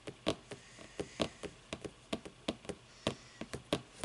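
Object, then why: Book. A book is tapped with the fingers for ASMR, giving about seventeen quick, dry taps at an uneven pace over four seconds. Each tap is short with almost no ring, a low thud under a bright, papery click, over a quiet, steady background.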